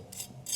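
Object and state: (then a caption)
Crispy roast chicken skin. The golden skin of a whole roast chicken fresh from the air fryer oven is scraped, giving two short, crisp, high-pitched rasping scrapes. The skin sounds crunchy, and the chicken is crispy outside and juicy inside.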